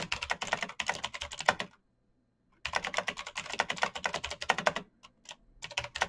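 Bare fingertips type quickly across a full-size black plastic mechanical keyboard with clicky green switches and RGB backlight, its hollow case resting on a desk mat. Rapid, bright, sharp clicks come in dense bursts, stopping for almost a second, then running on again with a short pause before a final flurry.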